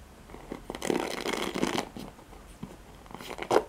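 Fingertips and nails scratch across the nylon pin bristles and plastic back of a handheld black oval plastic paddle hairbrush. A long, raspy, bristly scrape fills the first half, then softer scattered scratches follow. The clip ends with a sharp, louder scrape.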